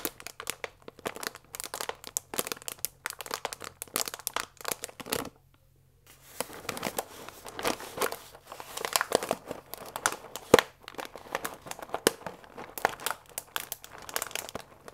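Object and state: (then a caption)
Paper pasta bag with plastic window. A full paper fusilli bag with a plastic window is rubbed flat with the hands, producing dense, dry crinkling and rustling with bright edges. After a brief silence, the bag is picked up and squeezed, giving louder, sharper crackles and crunches that continue to the end.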